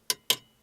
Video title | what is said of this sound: Building a Bunk Bed Part: 2 Final Part | It's sturdy, it's not going to go anywhere.